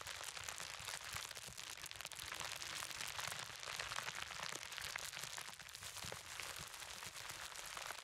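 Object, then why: Plastic bubble wrap roll. A large clear plastic bubble wrap roll is held in both hands while fingertips tap, squeeze and pop the bubbles. The result is a steady, dense stream of bright crackles and snaps with little low end, at a quiet level throughout.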